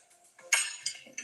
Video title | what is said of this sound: 🍫Chocolate Covered Strawberries🍓 | It sounds like glass.